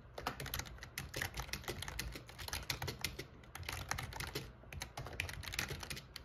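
Short-nailed fingertips type rapidly on a backlit black plastic gaming keyboard, a full-size, hollow-bodied board, pressing and tapping the keys. A dense, continuous run of sharp, bright clicks and clacks rides over a low hollow thump from the body, with brief pauses between bursts.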